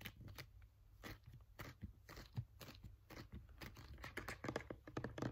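A filled green plastic sunscreen bottle is gripped, tapped and scratched with fingernails. Quick, dry taps with a low hollow thump mix with bright, crinkly scratching bursts, each dying away almost instantly.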